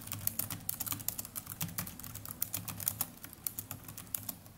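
Fingertips of both hands type continuously on the plastic chiclet keys of a small black netbook keyboard. A rapid, uneven stream of short, bright key clicks rides over a steady low rumble, each tap dying away almost instantly.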